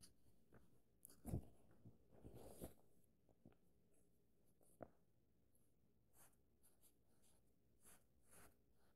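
A page of an open paperback book is turned with a soft papery rustle and flutter, then fingertips trace and rub along the new pages. The rubbing is faint and scratchy, broken by a brief tap-like click. The overall sound is quiet and close, weighted toward low tones.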